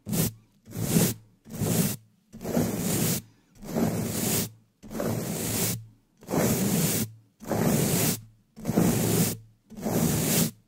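A black metal mesh microphone grille, a hollow dome, is rapidly brushed and scratched on top with the bristles of a wooden dish brush held in a black-gloved hand. Ten separate bursts of bristly scraping sweep in, each a dense rasp with a low rumbling body and a bright hissy top, with short silences between strokes.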